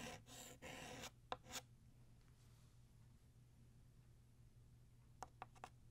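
Blue chalk draws the left tail of a ribbon on a flat black chalkboard in long strokes. It gives a dry, bright rasp in the first second, then a few short scratches and taps with quiet gaps over a steady low hum.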